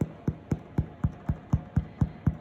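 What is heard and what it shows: Nine quick, even taps on the bottom of a sourdough loaf after 40 minutes of baking give short, dull, low thumps with almost no ring. The hollow sound shows the bread is done.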